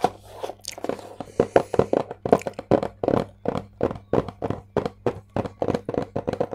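A closed, hollow, book-sized white Samsung cardboard product box is held upright in both hands and tapped and scratched with long acrylic nails, ending tilted sideways. About 29 dry, crisp taps with very short decay come in a quick, steady rhythm after a few sparser scratchy strokes at the start. The sound is centered in the midrange with little bass and a faint steady low hum underneath.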